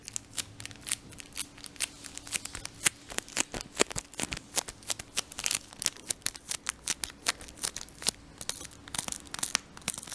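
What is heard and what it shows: A full Brooklyn gum 4-pack in a thin crinkly paper and foil-lined wrapper is held in both hands and rubbed and crinkled with the fingertips. Dense, bright crackles and sharp snapping crinkles come in quick, uneven bursts throughout, over a faint steady low hum.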